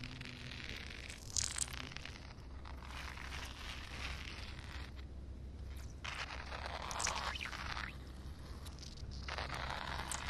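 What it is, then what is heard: Wet concrete slab. Long painted nails tap and scratch across a flat, solid outdoor concrete slab covered with a shallow film of water. The result is a steady, close run of bright, crackly scraping and wet rustling in recurring bursts over a low, constant hum.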